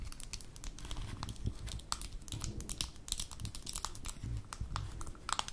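Long nails tap and scratch the gold metal screw lid and rim of a small amber glass jar held in the hands. Dense, rapid, bright clicks and scratchy crinkling rise over a low rumbling background, each tick short and dry with almost no ring.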